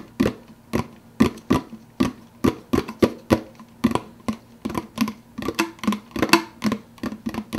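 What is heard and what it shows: Fingertips quickly tap the clear plastic lid of a large, empty, translucent blue plastic soda cup. Each tap is a short, dry, hollow plastic tick with a low-mid tone and almost no ring, falling in a fast, uneven rhythm.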